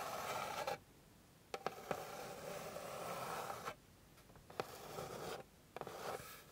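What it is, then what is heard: Wooden board scratched with nails. Long pink nails scratch across a flat, light, solid wooden board in four rasping passes separated by short quiet gaps. Each pass is a dry, broadband scrape centred in the midrange, with a few sharp ticks where the nails catch the surface.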